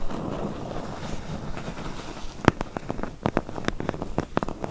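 Long nails scratch the sides of a medium, closed, hollow corrugated cardboard box, making a soft, low rustling texture. Then they tap the sides and bottom edge in quick, dry, hollow knocks that stop short with almost no ring.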